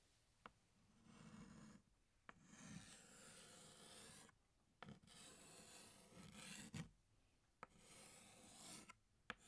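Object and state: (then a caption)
Chalk drawing on a blackboard. A pink chalk stick held in the fingertips draws on a flat black chalkboard, outlining a flower. Soft, raspy scraping strokes run in long stretches separated by brief quiet pauses, with sharp little taps where the chalk meets the board.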